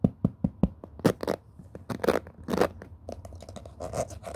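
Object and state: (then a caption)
Plastic-bristle cushion hairbrush. Fingertips rub and scratch across the white ball-tipped plastic pin bristles of a black cushion hairbrush while the brush is tilted in hand. Four quick, dry ticks open the clip, followed by bursts of bright, rustling scratches and a steady run of soft, crackly clicks with a low thump underneath.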